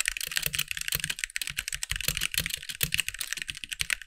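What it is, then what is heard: Plastic mechanical keyboard. Fingertips of both hands type quickly on a compact backlit mechanical keyboard with white plastic keycaps. A steady stream of short, bright clacks follows, each dying away almost instantly, with a faint low thump under some strokes.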